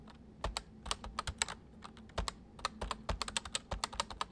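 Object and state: Plastic mechanical computer keyboard.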